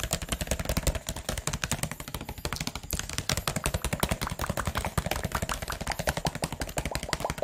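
A clear plastic drinking-water bottle with a teal label and cap, hollow and of unclear fill level, is held in the hands and rapidly tapped and squeezed with the fingers. The result is a dense, irregular stream of short, dry taps with a low hollow thump beneath bright plastic clicks and crinkles, each dying away almost instantly.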